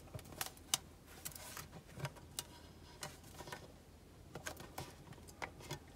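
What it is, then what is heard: Metal soap tin tapped with fingernails. Long nails tap the lid and sides of a small, hollow black-and-gold metal tin soap box, held closed in both hands with the soap inside. About eleven light, bright ticking taps sound, each dying away almost at once over a faint, steady background hiss.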